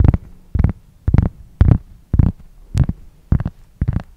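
Fingernails scratch a large, solid, flat round cork board or coaster held close to the microphone. Eight short, deep scratching bursts come at an uneven pace, each a quick rough rasp. A low hum sits underneath the bursts.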